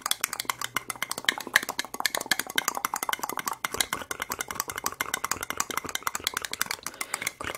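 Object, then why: Small ribbed plastic cup. A single small, clear, ribbed plastic medicine cup, hollow and empty, is held in both hands and rapidly tapped and scratched with long red acrylic nails close to the microphone. The result is a dense, fast stream of dozens of dry, bright clicks and scratchy rasps with almost no low end and no ring after each tap.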